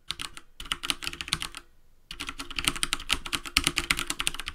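Both hands type rapidly with bare fingertips and short nails on a full-size black plastic keyboard with a hollow housing and keycaps, resting on a wooden desk. Quick, bright, clicky key taps come in dense bursts with a faint low thud beneath. The typing pauses briefly near the middle, then resumes a little louder.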